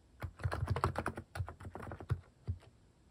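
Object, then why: Mechanical keyboard with plastic keycaps. Fingertips type steadily on a compact mechanical keyboard with cute cat-shaped plastic keycaps on a white case. The result is a quick run of short, soft clacks with a deep, thocky low end and almost no bright edge, each keystroke stopping almost at once.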